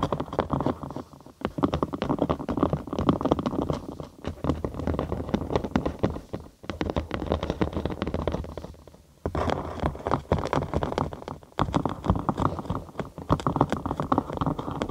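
Long acrylic nails scratch and tap a thin cork sheet curved over a 3Dio binaural microphone, leaving it hollow underneath. The result is a dense, continuous run of muffled, bassy scratching and quick tapping, mostly low to mid in tone with little brightness. Short pauses break it up every few seconds.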